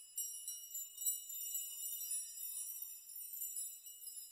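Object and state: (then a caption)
Metal nail chime. A metal nail chime, made of many long thin metal nails hanging in rows, is pushed and rocked by open hands and fingertips so the nails knock together. The result is a soft, continuous, bright jingling and tinkling, with quick high clinks that swell and fade irregularly and die away almost at once.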